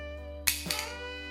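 A resin-coated, hardened plaster piece is dropped from about one meter and lands with a sharp, bright clack, followed by a couple of quick smaller bounces over a steady low hum. The piece stays intact after the drop.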